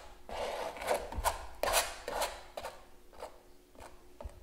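A palette knife scrapes gel across a large stretched canvas giclee print lying flat, while the other hand holds the canvas edge. A series of short, raspy scraping strokes comes at an uneven pace, with a bright, papery texture over a mid-range body. The strokes are loudest in the first half, then soften and thin out toward the end.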